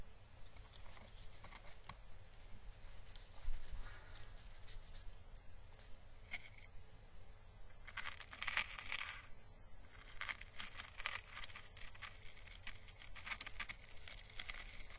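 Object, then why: Dried papery plant husk. A small, hollow, dried orange Chinese lantern husk, a papery plant calyx with a thin surface, is held in the fingers and slowly brushed with a paintbrush. Soft, bright, papery crackling and scratching come in uneven strokes over a steady low hum. The crackle grows denser and brighter in the second half.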